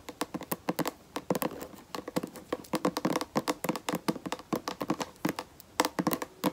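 Long acrylic nails tap a hand-sized, hollow white plastic lotion bottle and its black plastic flip cap. Dozens of quick, dry, clicky taps follow one another in an irregular rhythm, each with a bright attack and a very short mid-range ring that dies almost at once.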